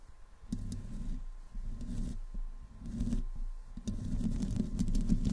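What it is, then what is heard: Metal microphone grille scratched. Long fingernails of both hands slowly scratch the hollow metal mesh grille and the sides of a black desktop microphone. The sound is a close, muffled, low rumbling scrape, with occasional faint bright clicks as the nails catch on the mesh.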